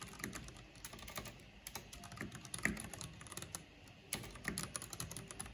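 Fast typing on a full-size black plastic mechanical computer keyboard with a purple backlight and hollow housing, struck with long painted fingernails and fingertips. A dense, uneven stream of quick, bright clicks with a low hollow thock near 200 Hz, each tap dying away almost at once, with a few louder strikes standing out.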